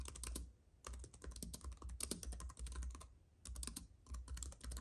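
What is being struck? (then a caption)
Plastic keys on an aluminum keyboard. Both hands type with their fingertips on a slim white keyboard with plastic keys on a silver aluminum base, with a paintbrush lying still in front of it. Quick, bright plastic key clicks come in three dense runs separated by short pauses. A steady low hum sits underneath throughout.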